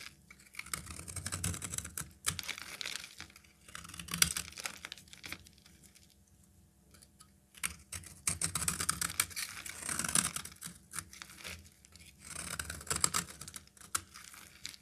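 A solid peach rectangular bar of soap is scraped with a metal utility knife blade into thin curls, producing bursts of dry, bright scraping and crackling strokes. The scrapes come in clusters separated by short quiet pauses.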